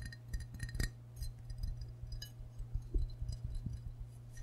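A medium glazed ceramic mug shaped like a green and white frog, with a handle, hollow and apparently empty, is held in both hands and tapped on its body with short fingernails and fingertips. The result is a run of quick, light clinks and ticks with bright edges and very short ring, heard over a steady low hum.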